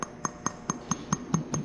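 A bisque-fired stoneware pot, pinkish from the iron in its clay and fired in an electric kiln to about 1900 degrees, is tapped eight times at a steady pace. Each tap gives a short, bright ceramic clink with a tone near 1 kHz, a faint high ring, and a low body that dies away quickly. It sounds like fired ceramic rather than clay.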